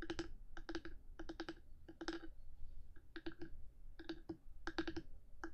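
Long nails on one hand tap and scratch the top of a black, hard 3Dio binaural microphone housing. Quick, sharp clicks come in rapid bursts separated by short pauses, with a steady low rumble underneath throughout.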